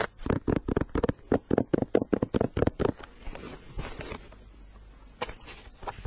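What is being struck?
Leather sneaker with rubber sole.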